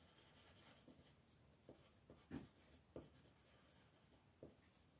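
A pink colored pencil fills in flower petals on a thin paper coloring book page, while the other hand, with long red nails, holds the page. Soft, continuous rubbing and scratching strokes go on steadily, with three louder, sharper scratches standing out. The sound stays quiet throughout.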